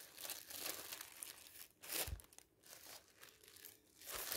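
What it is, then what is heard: Thin plastic bag. A thin, transparent polyethylene bag laid over a magazine is lifted, rubbed and crinkled with the fingers and a flat hand. It produces a steady, bright, hissy crinkling with softer lulls, and louder rustling bursts near the two-second mark and at the end, each carrying a brief low thump.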